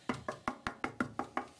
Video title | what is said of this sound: Советская акустика / 25 АС-225 «Комета» | корпуса вроде нигде не расклеились так вот если постучать никаких вроде отслоения нет